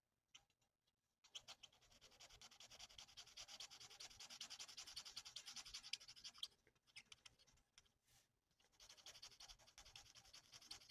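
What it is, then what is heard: Paper coloured with a felt-tip marker. A felt nib of a plastic alcohol marker is rubbed in rapid back-and-forth strokes across a thin, flat sheet of printed paper on a table. It makes a soft, dense, high scratchy rubbing that begins after a few faint ticks and briefly thins out near the end before the strokes resume.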